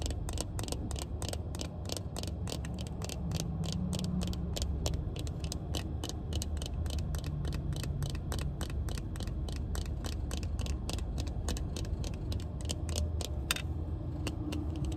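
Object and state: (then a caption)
Plastic-framed sunglasses. Long painted nails tap on sunglasses with a black plastic frame and pink tinted lenses, making a quick run of short, dry, bright clicks. The clicks sit over a steady low rumble that stays quiet and even throughout.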